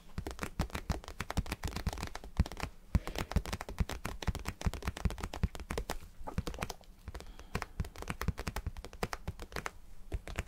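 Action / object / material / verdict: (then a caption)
tap / vinyl cube / vinyl / none. A vinyl cube is tapped and scratched with no speech. Rapid, dry, short taps with deep low thumps and faint scratchy texture continue steadily throughout.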